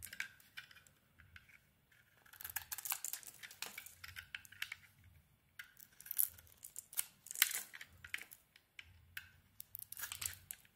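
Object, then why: Bar of soap scraped with a knife blade. A snap-off utility knife blade scrapes the embossed surface off a hand-sized solid pink ISANA bar of soap. The quiet, bright, crisp scraping comes in quick bursts of short, dry, crackly strokes separated by brief pauses. Each stroke dies away almost instantly, with hardly any low end.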